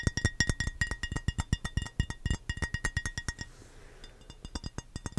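An empty, hollow, rectangular clear glass baking dish is held in both hands near the mic and tapped quickly with the fingernails, giving a steady run of short, dry clinking taps. Each tap has a low knock and a thin bright clink, with a brief quiet lull before the tapping resumes.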